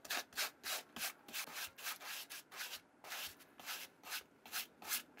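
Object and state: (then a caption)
Suede sneaker upper being brushed. A brown suede vintage Nike Challenger sneaker, with masking tape on the sole and swoosh, is held in one hand while its suede side panel is scrubbed with a white plastic-bristle brush. About sixteen quick back-and-forth rubbing strokes are heard as bright, dry scratchy bursts with almost no low end, each fading quickly.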